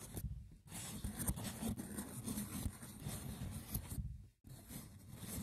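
Fingertips with short nails tap and scratch the top of a small, hollow, rectangular woven wicker box with a lid. The result is a rough, continuous scratching texture broken by soft taps, with brief near-silent gaps.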